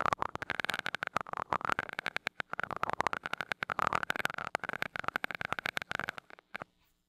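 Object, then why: Metal mesh microphone grille tapped with a glass rod. A glass rod taps rapidly on the small gold metal mesh grille of a mini microphone, lifting off between taps. The result is a dense run of short, sharp ticks with a thin metallic ring centered around 1 kHz. The tapping thins out and stops just before the end, leaving near silence.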